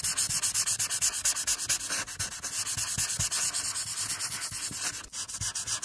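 A marker tip scratches and rubs in small, quick strokes over a flat printed paper coloring page, working around the eyes and forehead, while a long-nailed hand holds the sheet still with the other hand. The result is a steady series of dry, bright, hissy strokes with soft low thumps under them, about two strokes per second in an uneven rhythm.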